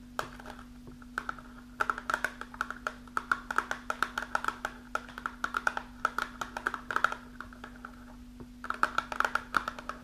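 Long pink nails tap rapidly on the front and top edge of a small, closed, printed cardboard box of iron supplement, likely holding tablets. Dozens of short, dry clicks with a hollow tone around 1.4 kHz come in quick bursts separated by brief pauses, over a steady low hum.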